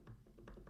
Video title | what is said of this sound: Cosmo Knives Prototype Pocketknife. Fablades Full Review | there is a little bit of rattle here